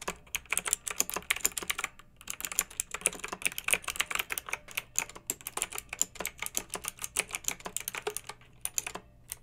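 Long-nailed fingertips type on a pink mechanical keyboard with round retro plastic keycaps and blue backlight. Dozens of quick, bright, clacky keystrokes land in a steady rhythm, each dying away almost instantly. There is a brief pause near the two-second mark, and a faint low hum sits underneath throughout.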